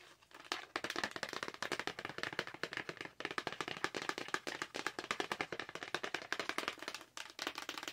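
Long nails rapidly tap and scratch a Hello Kitty Lip Smacker package, a hollow clear plastic blister holding two lip balms on a card backing. The result is a dense run of crisp, bright plastic clicks with almost no low end and very short decay. The clicks pause briefly around 3 and 7 seconds.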